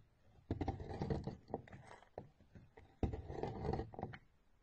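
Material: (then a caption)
Soap. A metal knife blade scrapes along the top of a solid rectangular orange bar of soap with embossed lettering, held in a hand with blue-painted nails, shaving off thin curls that pile up beside it. Two main bursts of dry, raspy scraping, at about half a second and three seconds, are made of quick crackly strokes with a low-heavy body. Shorter scrapes fall in between, and faint quiet gaps separate them.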